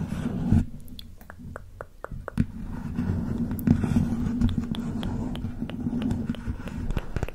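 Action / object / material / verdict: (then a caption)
tap / small printed cardboard box / cardboard / none. A small, hollow printed cardboard makeup box is held close to the microphone and tapped with long nails. The result is a rapid, irregular run of short, dry clicks over a steady low hum. Each tap dies away almost instantly.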